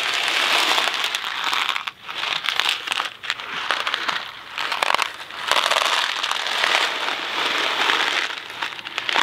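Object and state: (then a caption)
Cardboard box full of dry macaroni, shaken. A Kraft macaroni & cheese cardboard box full of dry macaroni is held in the hand and shaken end to end. The dry pasta makes a dense, bright rattling and crackling against the cardboard. The sound has brief dips between bursts of shaking.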